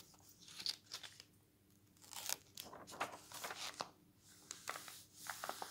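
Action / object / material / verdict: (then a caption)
scrape / paper magazine pages / glossy paper / none. A bare hand turns the glossy paper pages of an open travel magazine lying on a wooden table, then rubs and presses them flat with the palm and fingertips. Soft, bright, crisp rustles and crinkles come in short bursts separated by near-silent pauses, with a faint steady low hum underneath.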